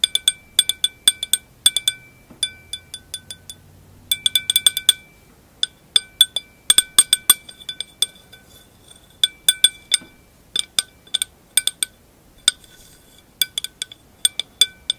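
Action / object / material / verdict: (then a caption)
tap / glass wine glass foot / glass / none. Long acrylic nails tap and scratch the round solid glass foot of a wine glass held up close. Bright, short clicks and clinks come in quick irregular clusters with almost no ring, and a faint scratching runs between some taps.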